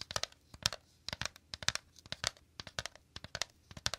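Fingers quickly tap and scratch the woven interior of a shallow, empty bamboo/wicker basket held to the left. The result is a fast run of dry, crisp, bright clicks and crackles with very little low end. Each hit dies almost at once.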